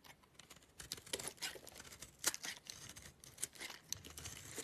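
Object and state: Bar soap being carved.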